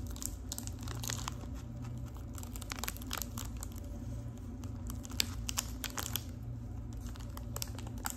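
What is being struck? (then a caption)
Small foil-wrapped cardboard tea box. Long pink acrylic nails tap and crinkle the foil surface of a small, boxy, hollow gold foil-wrapped Lipton tea package held in both hands. Quick, bright crinkling taps come steadily over a low, constant hum, with a few sharper clicks standing out near the end.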